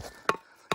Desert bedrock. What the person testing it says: See how that changed? That's hard there. That's soft there.